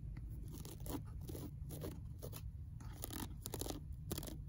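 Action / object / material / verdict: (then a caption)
scrape / paperback book spine, paper / paper / none. Long nails scratch and crinkle the torn paper edge of a worn old paperback book spine on a shelf, making quiet, irregular crunchy rasps and papery crackles. A steady low hum sits underneath throughout.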